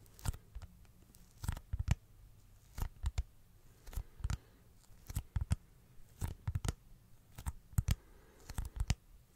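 A teal plastic glasses case, held up in one hand, is tapped with the fingertips. Quick bursts of short, dull, low taps come in irregular clusters with quiet gaps between them, each tap dying away almost instantly.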